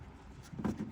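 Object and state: Filter snug in housing, no rattle.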